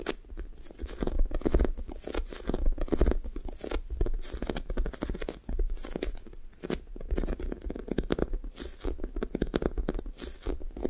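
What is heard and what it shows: Long fingernails on both hands press into the sticky blue foam top of a squishy toast toy and peel away. The result is a continuous run of sticky tearing, crinkling and pulling sounds, heavy in low rumble with irregular crackly bursts and a brief dip in level midway.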